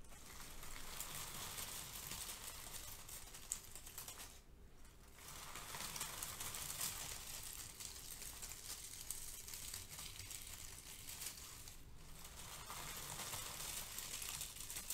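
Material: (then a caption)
Paper. Both hands with long manicured nails dig into a pile of brown crinkle-cut kraft paper shred packing filler resting on a white foam sheet, scrunching it with the fingertips. The result is a steady, dense, bright rustling and crinkling that briefly softens around 4.5 and 12 seconds before resuming.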